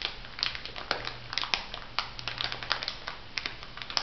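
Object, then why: Plastic bag of bath salt granules. A small, full, clear plastic bag of white bath salt granules lies flat while fingertips and long nails press and rub it. The result is a steady stream of bright crinkling and gritty crushing, punctuated by many sharp, quick crackles that fade almost instantly.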